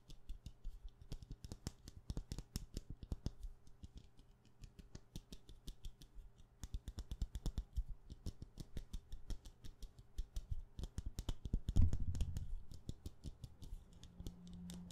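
Long painted nails tap rapidly across a solid white wax pillar candle with a wick, held in both hands. The clicks are quick, dull and low, coming in dense bursts with a brief pause near the four-second mark, a louder thump around twelve seconds, and a faint low hum under the final taps.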